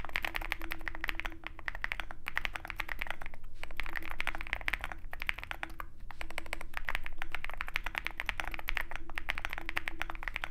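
A Zoom65 compact 65% mechanical keyboard with a dark case and white PBT keycaps is typed on continuously with the fingertips of both hands. The result is a dense, rapid stream of short, dry clacks centered around 2 kHz, coming in bursts with brief pauses, over a steady low hum.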